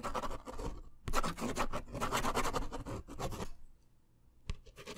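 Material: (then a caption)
Paper. A blue ballpoint pen tip is scratched and drawn across the surface of a small, thin, solid white paper pad or card held in one hand. Bursts of dry, bright scratching strokes run for about three and a half seconds, then a brief near-silence. A sharp tick and a few more faint strokes close the clip.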